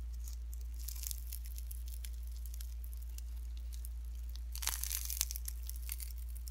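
Pink slime mixed with shredded cellophane is stretched flat, then bunched and squeezed by fingertips. The result is a steady, bright crinkling and crackling that swells into a denser burst near the end. A constant low hum sits underneath.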